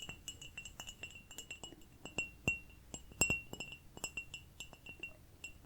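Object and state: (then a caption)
Ceramic cup. A small, cute ceramic cup is tapped in an irregular run of about two dozen quick, light taps. Each tap gives a bright, glassy clink that rings briefly around 2.7 kHz with a high shimmer above, sounding like a chime.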